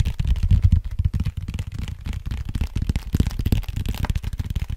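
Fingertips and nails scratch and tap the surface of a large, flat, brown cardboard vinyl mailer printed with FRAGILE, held up hollow in front of the mic. The result is a dense, rapid stream of soft, dull, low thumps and rustling scrapes, with almost all of the energy deep in the low end and each tap dying away almost at once.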